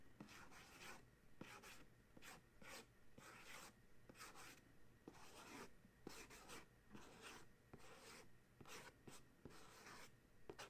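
Fingernails scratch and trace across the glossy printed front of a small paperboard box of dryer sheets, likely full, held on a towel. Quiet bursts of dry, broadband rasping come at an uneven pace, with brief sharp clicks at the edges of strokes.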